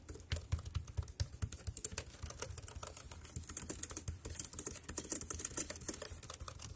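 Fingertips type quickly on the round keys of a dark grey plastic wireless keyboard. The result is a steady, uneven stream of short, dry clicks with bright tops and a soft low thump under each press.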